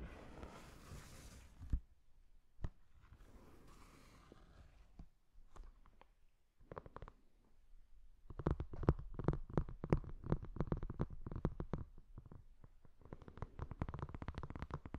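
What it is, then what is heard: Glossy hardcover book tapped and scratched. Fingertips and nails tap and scratch along the front and back of a large Star Wars Episode I book with a glossy paper-covered cover, solid and flat, held upright. Soft, breathy scratching and a few isolated taps give way to dense runs of quick, dull taps with light clicky edges. The taps are short and dry with almost no ring.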